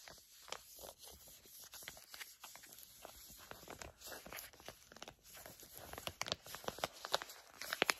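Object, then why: Plastic/foil laminate facial mask packet. A medium-sized, flat pink and blue sheet facial mask pouch made of plastic/foil laminate is crinkled and scratched with long nails and fingertips. The result is steady, bright, papery crinkling and scratching with little low end, and the sharp crackling snaps grow louder and more frequent toward the end.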